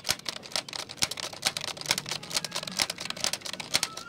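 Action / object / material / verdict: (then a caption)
tap / plastic computer keyboard / plastic / none. A black plastic computer keyboard is held vertically while fingertips type and tap on its keys. The result is a quick, irregular stream of sharp, bright plastic clicks with almost no low end, each dying away almost instantly, with a few louder accented taps standing out.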